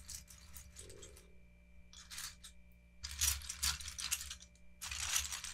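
Both hands use their fingertips to rake, shuffle and push a loose pile of many small, hollow, multicolored ABS plastic Lego bricks across a cloth-covered table, with no bag or other object involved. The bricks clatter against each other in bright, dense, irregular bursts of clicks separated by short quiet pauses, over a faint steady low hum. The clatter grows louder and busier in the second half.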